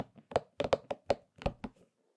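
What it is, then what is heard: Rubber spiky massage ball. Fingertips tap and scratch the spikes of a hollow, purple and pink soft rubber spiky massage ball held in both hands. The result is a quick series of soft, dull, hollow taps with a faint midrange resonance around 560 Hz, each dying away almost at once, with brief scratchy friction between them.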